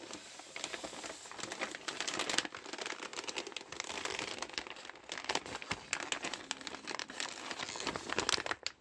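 Hands in green rubber gloves squeeze and crumple a large red biodegradable plastic postal mailer bag with a parcel inside. The thin plastic gives a dense, continuous run of sharp crinkles and crackles, bright and hissy with almost no low end, rising and falling in bursts throughout.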